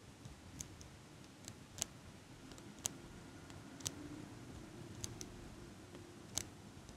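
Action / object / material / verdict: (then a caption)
tap / metal eyelash curler / metal / none. Fingers with long nails squeeze a small metal eyelash curler open and shut close to the microphone, making a series of sharp, bright metallic clicks. Each click is short and dies out almost at once, over a low, steady background hiss.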